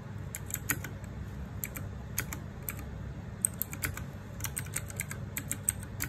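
Fingertips type on a small 60% RGB-backlit mechanical keyboard with plastic keycaps. It makes a quick, uneven stream of short, bright clicks that stop dead, over a steady low rumble.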